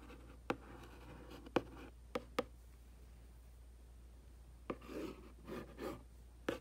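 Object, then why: Printed cardboard box. A black makeup brush handle and tip is rubbed and scratched across the front of a hollow, printed cardboard aquarium box. Sharp, dry clicks and ticks come at uneven intervals, mixed with softer scraping rubs against a low, steady background hum. Each sound dies away almost at once.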